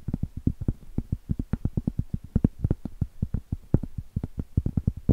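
A round, flat, solid cork trivet of coaster size, held horizontally, is tapped and scratched with long stiletto acrylic nails. About 35 quick, dull, low-pitched taps come in a rapid uneven run, each dying almost at once with no ring and little brightness.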